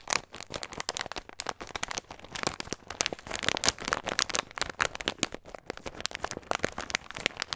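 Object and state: Plastic bag of nuts being crinkled.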